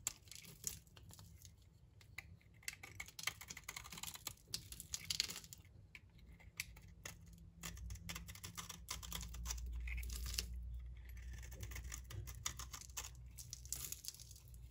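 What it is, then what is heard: Dry bar soap being scraped. A utility knife blade scrapes and cuts shavings off the face of a solid, dry green bar of soap from Turkey held in the palm. The result is a dense, irregular run of crisp, bright scratching and crackling clicks, with a steady low hum underneath.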